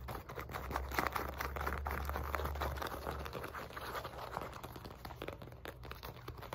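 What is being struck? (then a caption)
Padded synthetic leather boxing mitt. Long nails tap and scratch across the surface and sides of a padded, hand-sized black synthetic leather boxing focus mitt. The result is a fast, uneven patter of short, dull taps mixed with soft scratching, over a steady low hum that fades after about three seconds.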